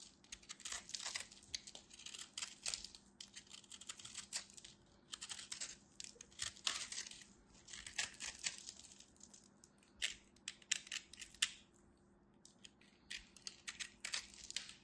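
A craft knife scrapes and carves over and over across the surface of a solid, fist-sized ball of compressed pastel soap flakes. The result is a run of dry, crisp, bright scratching and crunching bursts with very little low end, broken by short quiet pauses.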